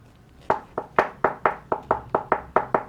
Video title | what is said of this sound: Steelbird SB 42 Racetrack Motocross Helmet Unboxing & First Impressions | the sound of the helmet if you knock on it